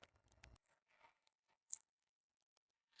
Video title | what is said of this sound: Top Chef 2026 Saison 17 - Épisode Complet 5 -- Top Chef Saison 2026 - Épisode 24 | C'est bien croustillant, on entend bien.